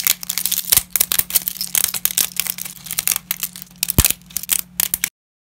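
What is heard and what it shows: Black-gloved fingers snap, crumble and rummage through a pile of broken dry wheat lasagna sheets, producing a rapid series of sharp, bright, brittle cracks and crinkles, with faint glove rubbing. A low steady hum sits underneath until the sound cuts to silence just after five seconds.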